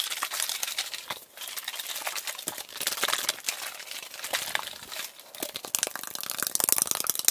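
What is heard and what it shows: A tall, hollow aluminum Arizona iced tea can, possibly holding liquid, is held in hand and rapidly tapped and scratched with fingertips and nails. The result is a dense stream of bright, crinkly clicks and scrapes with almost no low end, brief lulls around 1.2 and 5.3 seconds, and sharper, louder taps toward the end.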